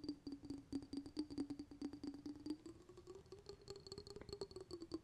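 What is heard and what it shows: A small round glass jar with a metal lid, filled with sparkly water, is held in the hands and tapped and scratched with fingertips and nails. The result is a quick, uneven run of soft clicking taps over a steady low tone that rises slightly in pitch partway through, with a faint high ring above.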